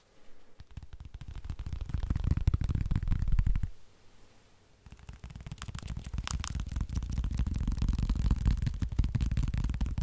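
A soft, hand-sized black fabric and foam wrist splint is held in the hands and tapped and scratched with the fingertips. Rapid, muffled low thumps and soft scratching build steadily, then break off into a brief near-silent pause. The dense tapping resumes and continues to the end.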